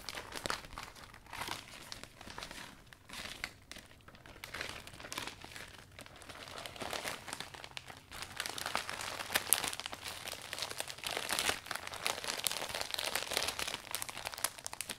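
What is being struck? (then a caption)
Thin vinyl umbrella canopy. Hands squeeze, smooth and rub the folds of a new, folded iridescent thin vinyl umbrella canopy along its shaft while wiping it down. A steady stream of dense, bright crinkling and crackling fills the clip, with no low end, and grows louder and busier in the second half.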